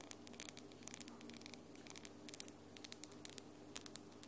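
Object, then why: Long acrylic nails. Long glitter acrylic nails are tapped against each other, nail on nail, giving a rapid, uneven series of about 25 quiet, sharp, bright clicks that stop almost instantly. A faint steady low hum runs underneath throughout.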